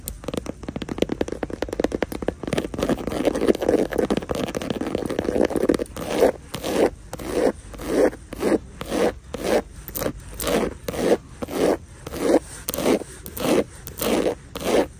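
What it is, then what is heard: Woven straw handbag. Long nails scratch and tap across the woven front panel of a hanging straw or raffia handbag with white trim. A dense, continuous dry scraping gives way after about six seconds to steady, rhythmic strokes roughly twice a second. The sound is a raspy, mid-range texture with little deep or bright content.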